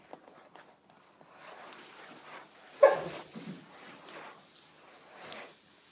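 Long painted nails tap and scratch the top and edges of a flat, rectangular, closed, hollow cardboard box wrapped in checkered paper. Soft, dry scratching builds through the middle, with one sharp, hollow tap near three seconds that stands out above the rest, and faint bright rustle throughout.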